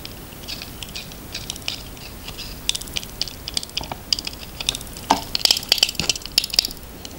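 A red utility knife blade scrapes and carves grooves into a solid, cream-coloured, palm-sized handmade soap bar held upright over a plastic tub of soap shavings. The repeated shaving strokes make dry, crisp, high-pitched scratchy clicks that build in density and loudness toward the end.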